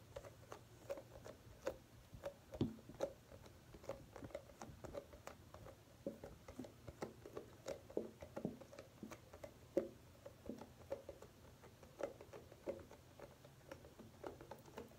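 A soft plastic cosmetic conditioner tube, which appears mostly full, is held upright and tapped and scratched with long painted fingernails. The result is a quiet, steady run of many short, dry taps with a faint mid-range knock, mixed with soft scratchy rustling and a few slightly louder clicks.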